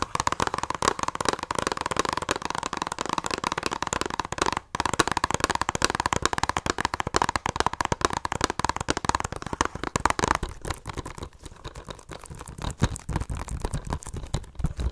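Long nails rapidly tap and scratch the front of a hollow plastic Blu-ray case held in both hands. The result is a dense stream of short, dry clicks centered around 1.1 kHz with a hollow body, pausing briefly near 4.7 seconds. After about 10.5 seconds it turns softer and thinner.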